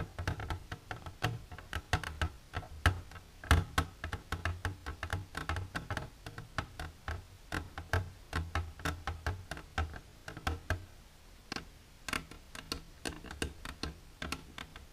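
Long silver nails tap from inside and behind an empty, upright, transparent hard plastic container. Dozens of quick, dry clicks in uneven bursts over a low, hollow body tone, each decaying almost instantly.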